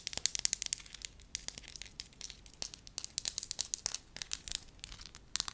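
Long lavender nails tap and scratch a flat, hand-sized, pale yellow pliable wax sheet while fingers crinkle it. The result is a rapid, uneven run of sharp, bright crackling clicks and crinkles with almost no low end, each snap dying away instantly.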